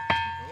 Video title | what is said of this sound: ! ఒక రాయికి ఒక సౌండ్.. కొడితేనే వింత శబ్దం! మీరు ఎప్పుడైనా చూ | ఇది ఇత్తడి బిందని కొడితే సౌండ్ వస్తుంది